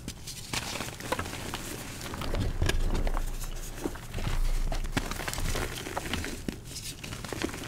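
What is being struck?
Gym chalk blocks (magnesium carbonate).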